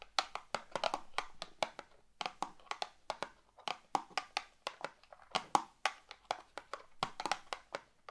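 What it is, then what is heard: Cardboard matchbox tapped with fingernails. Long neon green nails tap their tips against a small closed cardboard box of fireplace matches, filled with matches and printed red and white, held in both hands above a wooden table. The result is a quiet stream of quick, dry, clicky taps in uneven bursts, centered in the midrange with bright edges and almost no low end. Each tap stops dead with no ring.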